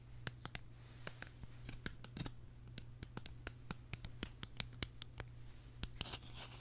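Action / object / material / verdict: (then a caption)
tap / small hollow hard-plastic case / plastic / none. A small, hollow, purple hard-plastic tulip-shaped case is turned in the hands while long nails tap and scratch it. The result is a quick, irregular run of sharp, dry clicks and brief scratches with bright edges and almost no ring, over a steady low hum.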